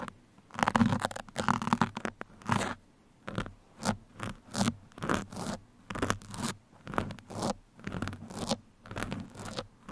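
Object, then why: Foam microphone windscreen. Two metal pins held between the fingertips scratch and poke the surface of a black foam microphone windscreen that sits hollow over the capsule. A dense, rustling scrape in the first couple of seconds gives way to a steady run of short, separate scratchy strokes with quiet gaps between them, close and crunchy with a low, muffled body.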